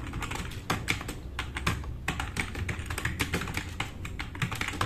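Fast two-handed fingertip typing on a black RGB-backlit tenkeyless plastic mechanical keyboard with plastic keycaps, resting on a wooden desk. A rapid, uneven stream of short, bright clacks and ticks rides over a low thudding body from the keys bottoming out, each stroke dying away almost instantly.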